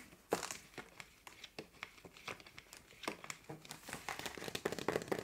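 Long nails tap the green plastic cap and neck of a 1.5 L clear plastic bottle that is partly full of water. The result is a quick, uneven run of light, crinkly plastic clicks and taps with a bright edge, each dying away almost at once.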